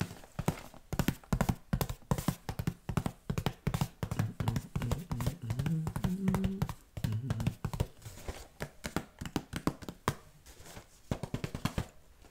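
A hand-sized, hollow Wheat Thins cardboard box, partly filled with crackers, is held up in both hands, tapped with the fingertips and handled or shaken. Quick bursts of dull, low, hollow taps come in a galloping rhythm, each dying away almost at once. A denser, rumbling stretch in the middle suggests the box being handled or shaken.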